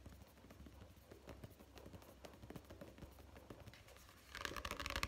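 Fingertips and nails tap rapidly on the card cover and edge of a solid paperback book held in both hands, making quiet, dry, fast-clicking taps. In the last second the tapping grows louder and brighter, with sharper high clicks.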